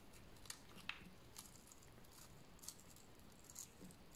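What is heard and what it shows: A solid, dried tan-yellow bar of soap held in the hand is scraped with a utility knife blade, cutting it into shavings. Quiet, brief, dry scrapes and bright scratchy ticks occur at irregular intervals over a low, steady hiss.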